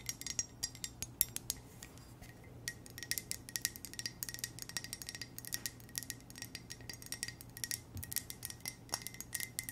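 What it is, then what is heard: Ceramic coffee mug tapped with fingernails. An empty, hollow black ceramic coffee mug with white text is tapped with long nails on its side and base. The result is a quick, irregular patter of light, bright clicks that die away almost instantly, over a faint steady low hum.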